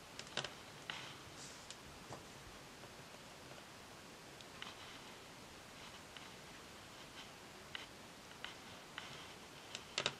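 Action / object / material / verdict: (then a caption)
tap / varnished wooden tabletop tapped with acrylic nails / varnished wood / none. Long acrylic nails tap rapidly on a solid, glossy varnished wooden tabletop with both hands resting flat on the surface. Thirteen short, bright clicks sound quietly, each dying away almost at once over a steady soft hiss.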